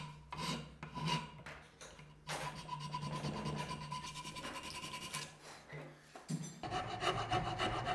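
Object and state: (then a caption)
Wooden knife handle blank being filed. A handheld metal file rasps across a solid, light-colored, palm-sized wooden knife handle blank clamped in a blue metal bench vise. Quick rubbing, scraping strokes come first as separate bursts, then merge into a steadier, louder grating with a bright, gritty edge. A faint steady hum runs underneath throughout.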